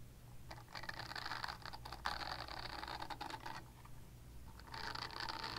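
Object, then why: Silicone body scrubber. A purple silicone body scrubber is scratched with long nails, giving bursts of dry, raspy scratching with bright, high hiss. The bursts run in two long stretches, the first stopping around 3.6 seconds and the second starting near 4.7 seconds, over a steady low hum.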